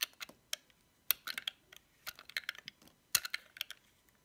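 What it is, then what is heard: Dry soap bar, crunchy when cut. A metal utility knife blade cuts thick curls from a solid, dry, cream-white soap bar decorated with cats and paws. It makes a quick, irregular series of sharp, crisp clicks and crackles that are bright, dry and almost without low end. Each one stops instantly, with no ring.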